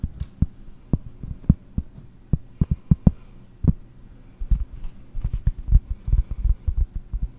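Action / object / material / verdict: tap / cork disc / cork / none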